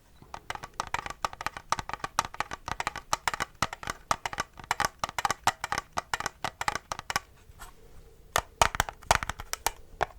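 Fingertips tap rapidly on a plastic N64 game cartridge, near and on its sticker, where the tapping sounds different. Dozens of short, dry, clicky taps centered around 900 Hz come in quick bursts. A brief quieter stretch near the end is followed by a few louder, sharper taps.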